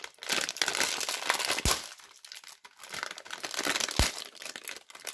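Long red-painted nails and fingertips pinch, tear open and crinkle the clear plastic cellophane wrapper of a small Duru lavender soap bar, with the soap still inside. Dense, bright crackling rustles build and ease in waves, with a few sharper snaps standing out near the middle and the end.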